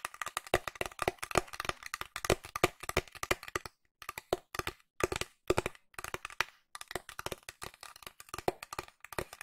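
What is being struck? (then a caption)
Flat cardboard box. Long nails tap a flat pink cardboard box with a printed illustration. They make quick, dry, crisp clicks with a hollow low-mid knock, in dense bursts broken by short pauses. Each tap dies away almost instantly.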